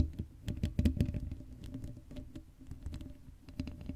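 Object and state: Metal mesh microphone grille scratched.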